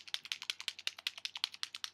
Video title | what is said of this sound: Nail Tutorial and Review!(FING'RS!) | you shake it. It sounds like a paint marker.